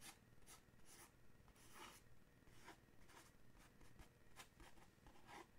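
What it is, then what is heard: Paperboard gift box, scratched and tapped. Fingernails scratch and tap the front of a small, dark, printed paperboard coffee mug gift box, likely holding a mug, held in one hand. The result is a quiet series of irregular, dry, bright scratching strokes and soft taps over a low, steady rumble.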